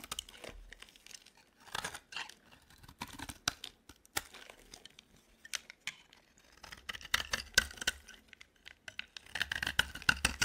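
A flat metal blade scrapes and shaves curls off the edge of a hand-sized, solid, cream-coloured bar of dry soap held in one hand, while the pile of shavings stays on the table. Dry, crisp, bright scratching bursts come in quick, irregular strokes, each dying away almost instantly, with a papery, tearing texture.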